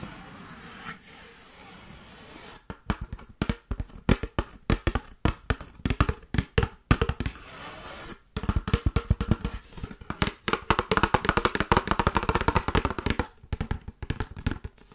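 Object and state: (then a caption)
Cardboard plastic wrap box. A long, narrow yellow Glad ClingWrap cardboard box, hollow with a roll inside, is held in one hand and tapped and scratched with the long acrylic nails of the other. After a quiet start, dry, short, hollow taps with a low thump begin. From about the middle they turn into a faster, denser run of tapping and scratching with a brighter edge.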